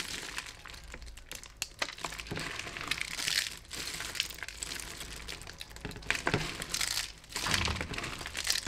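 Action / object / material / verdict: scrape / pile of dried soap flakes / soap / none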